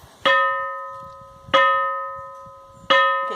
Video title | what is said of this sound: A Pedra que faz som de sino na Bahia, | é a pedra que parece um cino